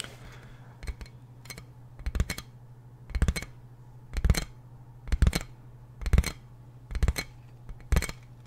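Fingertips and nails tap and scratch a large, clear plastic inflatable air-column packaging bag, striking its hollow, air-filled tubes. The sound comes as short, dull, hollow tapping bursts with brief crinkly scratches, repeating at an uneven pace over a steady low hum. Each burst dies away almost immediately.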